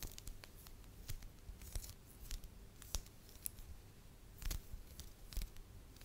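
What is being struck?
Small lump of soft wax.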